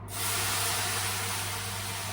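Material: Nothing is struck.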